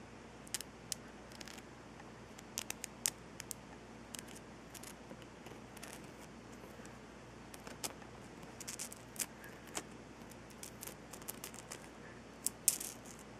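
A salt rock lamp is tapped, scratched and brushed for ASMR, heard here as a quiet run of short, sharp, bright clicks scattered irregularly over a faint steady hiss. Each click dies away almost at once.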